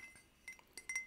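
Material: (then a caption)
Ceramic. Light clinking taps on a handmade ceramic pottery mug, bought at a pottery workshop on holiday. Four short, bright chinks with a clear ringing tone near 2 kHz die away almost at once, with nearly nothing in the low end.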